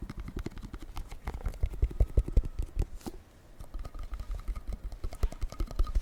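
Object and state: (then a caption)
Candle. Fingers tap rapidly and unevenly on a candle that was a gift from a friend, making a stream of dull, low thuds with almost no ring. The tapping grows louder in the first half, pauses briefly just after three seconds, then resumes more softly.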